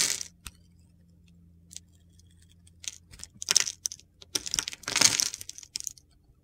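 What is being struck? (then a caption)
Bar of soap scraped with a knife blade. A utility knife blade scrapes crunchy shavings off a solid pale green bar of soap with a blue glitter coating, held in the hand. Bright, gritty scraping bursts come in uneven clusters between quiet pauses, with a faint low hum underneath.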